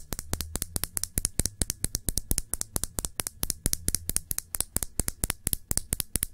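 Long nails tap quickly on a small, full glass nail polish bottle with a black cap, held in the fingers. About 48 short, bright clicks come in a fast, uneven rhythm, each dying away almost at once over a faint low hum.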